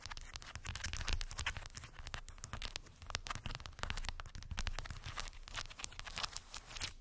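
Long white acrylic nails tap and scratch over a small rectangular cork board densely covered with solid round wooden beads. The result is a dense, rapid stream of sharp, bright clicks and crackly scraping, sitting over a steady low rumble.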